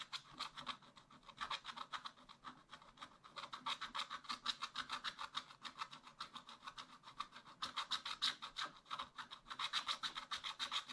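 A wooden stylus scratches rapid, repeated strokes across the black coating of a scratch-art page in a small spiral pad, working beside a drawn raccoon, with the thin paper resting on a flat backing. Each stroke makes a short, dry, bright rasp with almost no low end, and the strokes come in a steady, uneven rhythm of dozens of quick scrapes.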